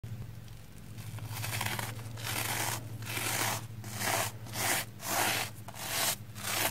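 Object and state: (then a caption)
Soapy foam sponge being brushed. A red porous plastic foam sponge block, wet with soap lather and held in the hand, is scrubbed with a small black spoolie (mascara-type) brush. Bright, wet, crackly scratching comes in repeated brushing strokes that grow louder and more distinct as it goes on, over a faint steady low hum.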